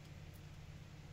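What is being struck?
Nothing is struck.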